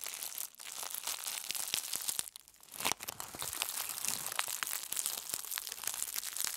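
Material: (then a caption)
Aluminium foil. A sheet of aluminum foil from a roll is crumpled and twisted by both hands, with long nails pressing into it. The result is a dense, bright crinkling and crackling full of sharp snaps, with almost no low end. Brief quieter pauses fall near half a second and again around two and a half seconds.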